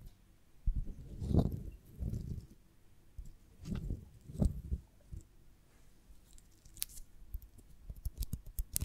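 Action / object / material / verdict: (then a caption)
scrape / beeswax honeycomb on a branch / beeswax / none. A beeswax honeycomb on a branch, held in both hands, is scratched and tapped on its waxy cell surface with long nails. This produces soft, muffled, low-pitched rustling swells and dull taps that come in irregular bursts. Faint, brief, bright ticks are heard toward the end.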